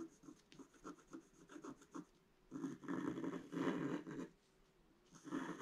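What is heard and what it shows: A pointed wooden stick scratches a flat scratch-art sheet of black coating over colored paper. A series of short, quick scratching strokes gives way to longer, louder bursts of dry rasping with a low midrange body, then a pause and one more scratching pass.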